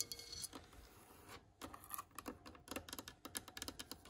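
Long nails and fingertips scratch and tap the rough surface of an old, cracked, solid wooden plank or block with metal screw heads. Quick, bright, dry clicks and taps come in an uneven run, mixed with soft scratching and a brief lull, with almost no low end.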